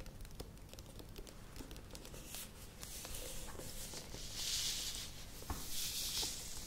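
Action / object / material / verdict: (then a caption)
scrape / thin plastic tub / plastic / none. A plastic yogurt tub is held tilted in the hands and then set down while long nails scratch along its side and rim. Quick, irregular clicking taps mix with dry scratching that brightens into louder hissy rasps in the second half.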